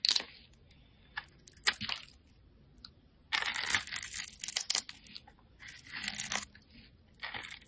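A metal utility blade scrapes curls and shavings off a handheld, solid, bright green translucent bar of soap. Crisp, high, crunchy scraping strokes come in short bursts and a few longer runs, separated by near-silent pauses.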